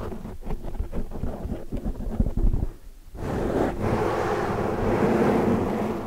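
Long dark nails rapidly scratch and tap a large black foam windscreen over a microphone, making a muffled, crackling patter of quick taps for the first few seconds. After a brief lull, fingertips brush the sides of the foam, producing a steady, dense, low rushing noise like wind through to the end.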